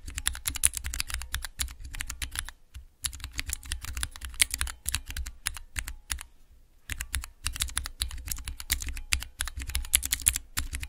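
Nails and fingertips rapidly tap three tall translucent plastic keycaps on a clear plastic mechanical keypad with Cherry MX switches. The result is dense bursts of short, bright clicks over dull low thuds. Brief pauses come near 2.7 and 6.5 seconds.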